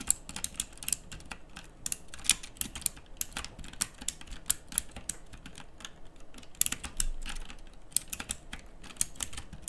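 Fingertips type on a backlit plastic mechanical keyboard with round plastic typewriter-style keycaps. Rapid, bright, sharp key clicks come in an irregular stream over a low, steady background rumble, with some strokes louder than others.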